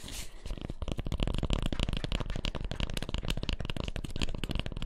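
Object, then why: Cork peanut-shaped massage ball. A hand-sized, solid cork, peanut-shaped double-ball massager is held upright next to the microphone and scratched with long fingernails. The result is a fast, continuous run of dry, rough scraping strokes. The sound is heavy in low thumping tones, has a faint bright hiss, and leaves almost no ring.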